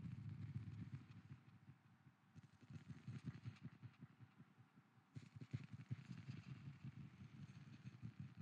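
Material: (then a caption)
Wood. A wooden lid is tapped repeatedly with an added echo effect, producing a quick, uneven stream of soft, low, hollow knocks. The taps come in short bursts, with brighter, crisper clusters around the middle and again later. Each knock dies away quickly into a faint echo.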